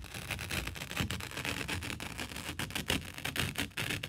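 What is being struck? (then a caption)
Thin paper sheet. A single thin sheet of white letter/A4 printer paper is held in both hands by the fingertips and flexed, bent and shaken in front of the microphone. It makes a steady, bright rustling full of quick crackles and soft flapping, with a low papery flutter beneath and no lingering ring.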